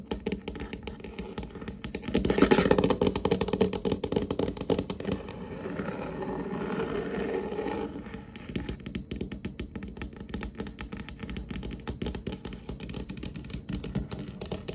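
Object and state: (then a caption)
Varnished wooden table. Fingertips and short nails of both hands tap rapidly and irregularly on a large, solid, varnished wooden tabletop with a glossy finish. The dull, low-mid knocks die away almost instantly, with a brief louder burst around two seconds and a softer, brushing wash under the tapping until about eight seconds, before light taps continue to the end.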